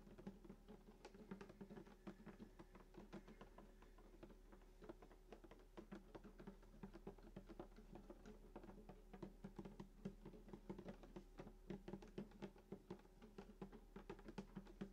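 Fingertips tap rapidly on the wooden top of a hollow sunburst acoustic guitar lying flat, near the bridge and on the upper body. The quick, dry taps each give a short hollow knock with a low body resonance, continuing steadily over a faint low hum.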